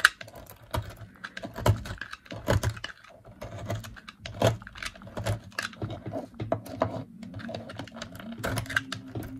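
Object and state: Dry bar of laundry soap.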